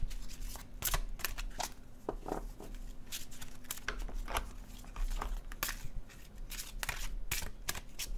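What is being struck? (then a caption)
Glossy cardstock card deck. A blue-edged glossy cardstock paper oracle deck is overhand shuffled in the hands, the cards sliding against each other. Quick, bright papery swishes and soft slaps repeat throughout at an even pace over a steady low hum.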